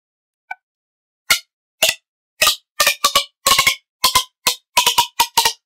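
A long, hollow red corrugated plastic pop tube toy is stretched and compressed with both hands, fingertips gripping its ribs. It gives a quick faint click, then a series of sharp, bright pops and clicks, some landing in fast doubles and triples, each cutting off almost at once with a clear ringing tone in the upper range.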